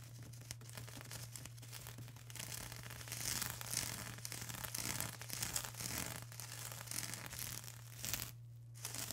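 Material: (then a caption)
Plastic. A flat sheet of plastic bubble wrap is scratched and pressed with long acrylic nails and fingertips. The result is a steady, close stream of bright crinkling and scratching over a low constant hum, with a brief quiet gap near the end.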